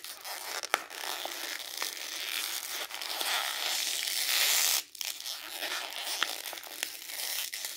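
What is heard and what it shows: A small rolled piece of printed glossy magazine paper is held between both hands while the fingertips twist, crumple and tear it. Dense, bright crinkling and rustling runs throughout, with sharp crackles popping out. It builds to a sustained, louder tearing hiss that cuts off abruptly before the crinkling resumes.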